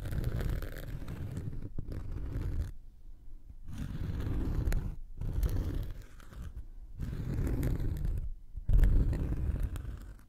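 A round, flat, solid cork coaster held in one hand is scraped and scratched across its surface with the tip of a thin wooden or bamboo knitting needle. The result is a dry, rough, low-heavy scraping in several bursts separated by brief pauses, with a louder scratch near the end.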